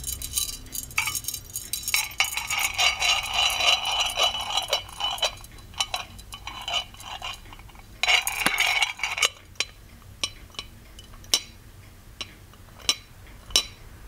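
Fingertips and nails tap the lid and rim of a small, ornate, hollow gold-plated metal genie lamp with an attached chain. Bright, thin metallic clicks and clinks come in quick, dense clusters with a faint rustling wash for the first nine seconds. Then they thin out into sparse, separate, sharp taps with very short ring.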